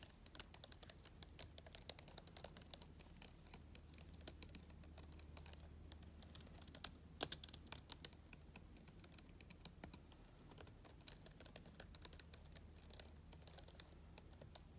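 Long nails and fingertips type and tap on the keys of a black plastic chiclet laptop keyboard with red lettering. The result is a quick, steady stream of short, dry, bright clicks over a faint low hum, with a few sharper, louder taps around the middle.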